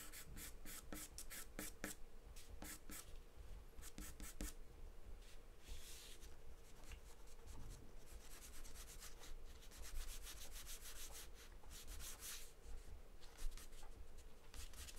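A wooden pencil scratches fine lines with short strokes across a large white paper sheet taped flat on a table. The quiet, dry scratching comes in bursts of bright, brushy texture over a low steady rumble, with quick strokes clustered in rapid runs.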